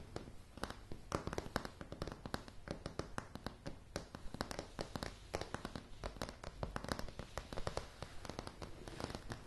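Long polished fingernails of one hand rapidly tap and scratch a light wooden plank floor, producing a dense stream of short, crisp clicks over a soft, low, woody thump. Each tap dies away almost instantly, with faint scratching rustle filling the gaps.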